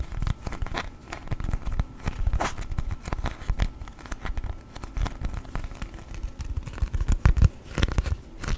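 A thin yellow sheet of beeswax-coated cotton food wrap, folded in half like a book, is opened, folded and rubbed with fingertips. The stiff waxy fabric gives a dense, continuous run of crinkles and crackles, mostly low and dull, with sharper snaps standing out here and there.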